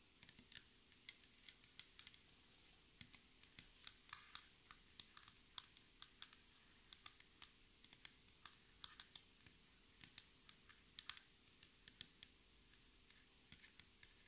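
Long red acrylic nails tap rhythmically with both hands on a flat, solid black speckled laminated table top, likely wood composite. Dozens of quiet, sharp, bright clicks ring out with almost no ring after each one. A faint steady hum sits underneath.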